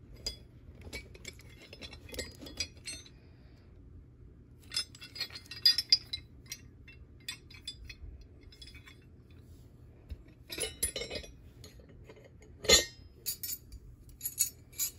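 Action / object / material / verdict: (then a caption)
shake / cast iron skeleton keys on a metal ring / cast iron / none. A bunch of large, solid, dark cast-iron decorative skeleton keys on metal rings, lying on carpet, is picked up by fingers with long yellow nails and shaken and jangled. The keys clink together in bright, short, metallic bursts with quiet gaps between them, over a faint, steady low hum.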